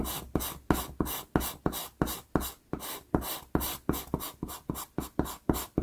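A black wood-cased pastel pencil, held by the fingertips, makes short scratchy strokes on a small taped sheet of Pastelmat pastel paper while shading dark fur below a drawn eye. Eighteen quick, rhythmic scratches are heard, each a dry, gritty rasp with a bright hiss and a soft low thud at the start of the stroke.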